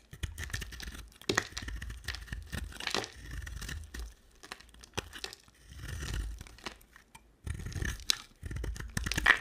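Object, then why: Bar of soap. A utility knife blade scrapes and shaves curls off a square solid bar of soap with a white core and red outer layer, held in the hand. Dry, crisp scraping and tearing-like shaving sounds come in uneven bursts separated by brief pauses, with a soft low thud beneath some strokes.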